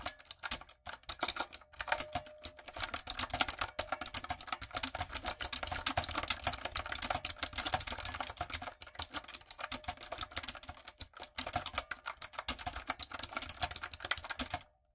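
Long nails and fingertips type on a retro typewriter-style backlit mechanical keyboard with round plastic keycaps. A dense, steady stream of bright, sharp clicks and clacks runs almost nonstop, with a few brief pauses, before stopping at the end.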